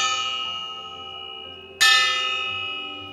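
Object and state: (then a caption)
Chromium cast iron stove door rings like a bell. A fire-grade cast iron stove door with added chromium is knocked once. It gives a bright, bell-like ring with a high tone near 2.9 kHz that decays slowly, and the tail of an earlier ring is already fading at the start. The clear bell-like ring shows that chromium is present in the cast iron.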